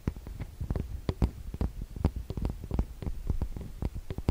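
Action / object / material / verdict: tap / metal mesh microphone capsule grilles / metal mesh / none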